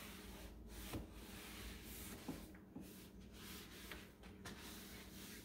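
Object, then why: Painted particleboard cube shelf. A rubber-gloved hand wipes and rubs the inside surfaces and base edge of the lower open compartments of a blue-grey painted particleboard cube shelf standing on a tile floor with a cloth. Steady low, dull rubbing and cloth swishing continue throughout, broken by several short, soft knocks and bumps against the shelf.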